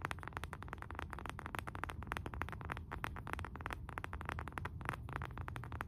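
Fingernails rapidly tap and scratch the face and rim of a round, flat, solid wooden candle jar lid, about palm-sized and held upright in both hands. The result is a quick, steady stream of dry, short clicks with a dull, woody low end and almost no ring after each tap.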